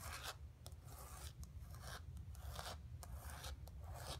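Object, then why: Painted canvas board. Fingertips and long nails rub and scratch the painted surface of a flat painted canvas board resting on carpet. Repeated raspy, filing-like strokes come in bright bursts over a steady low rumble, each stroke fading quickly.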